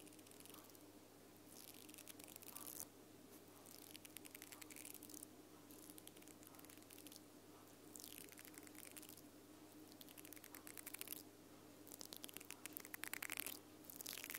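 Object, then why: Plastic mascara spoolie brush with nylon bristles. Long purple nails scratch and flick the pink nylon bristle head of a small mascara spoolie brush with a black plastic handle, held close to the recorder. Quiet bursts of bright, crackly bristle scratching rise and fade in repeated waves over a steady low hum.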